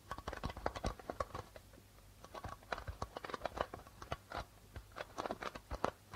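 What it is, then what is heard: Plastic-headed darbuka drum. Fingertips and nails tap rapidly on the white plastic membrane of a hollow darbuka drum. Bursts of short, dry taps and scratchy clicks come in uneven clusters, each dying away almost instantly with a mid-pitched papery tone over a soft low thump. A brief quieter gap falls around the two-second mark before the tapping picks up again.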